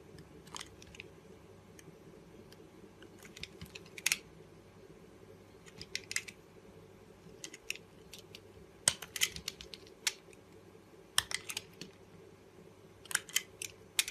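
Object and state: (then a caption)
Soap bar scraped with a blade. A metal blade scrapes and shaves the surface of a solid green and pink soap bar held in the hand. Short, crisp, bright scraping crackles arrive in irregular clusters, each dying away almost instantly. A faint steady low hum sits beneath them.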